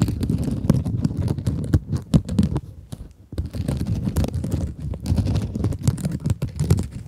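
A small rectangular pink kitchen scrub sponge with a sparkly woven mesh cover, soft and solid, is held in front of microphones and scratched with long acrylic nails. The result is a dense run of quick, dry, crackling scratches, heavy in the low range with brief bright flicks. The scratching quiets for a moment near the middle before picking back up.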